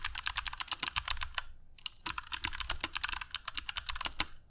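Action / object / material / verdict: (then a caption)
tap / mechanical keyboard with plastic keycaps / plastic / none. Fingertips of both hands type continuously on a compact black mechanical keyboard with dark PBT plastic keycaps and Kailh Box Jade switches, resting on a cork desk mat. A fast run of crisp, bright clicky clacks with very short decay fills the clip, with a brief pause in the middle before the typing resumes.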